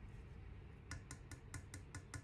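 An ancient low-fired clay figure is tapped eight times, giving short, dull, low-pitched knocks with almost no ring. Its sound is duller and lower than a modern high-fired cup, consistent with an authentic ancient piece.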